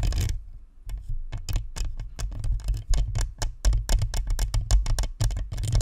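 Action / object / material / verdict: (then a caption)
scrape / plastic microphone with metal mesh grille / plastic, metal mesh / none. A white spherical Blue Snowball USB microphone is held in both hands while long nails scratch its metal mesh front grille and plastic shell. Quick, irregular scratching strokes produce sharp, bright rasps over a heavy, low, boomy rumble picked up through the microphone body.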